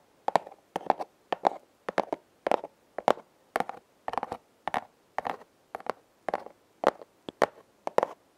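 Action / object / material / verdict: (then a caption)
tap / corrugated cardboard heart-shaped box / cardboard / none. Long nails scratch and tap the corrugated ridges of a flat, hand-sized red cardboard heart, likely a hollow heart-shaped box, held upright. The result is short, dry bursts of scratchy ticking in quick clusters at an uneven pace, with a papery midrange body and bright, crisp edges that stop almost instantly between strokes.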